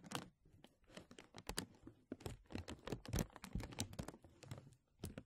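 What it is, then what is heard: Thin plastic film sheet. A thin translucent plastic film sheet draped over a microphone and held by fingertips at both sides is tugged and rubbed. It gives quiet, irregular crinkles and sharp crackling snaps that are bright on top with a soft low rustle underneath. The bursts cluster and fade in uneven waves.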